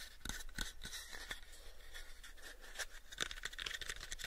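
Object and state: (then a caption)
Light wooden box. Short fingernails scratch and fingertips tap the faces of a light, pale wooden cube box. The result is quiet, dry, brief taps and bright scratchy rasps over a low rumble, with almost no ring after each touch.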